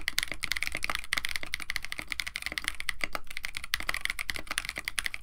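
Fingertips type continuously on a compact 65% KBD67 Lite mechanical keyboard with a white case, blue and white PBT plastic keycaps, an FR4 plate and Techno Violets switches. A rapid, steady stream of short, crisp clacks has a bright click near 2 kHz over a low thock, each keystroke dying away almost at once.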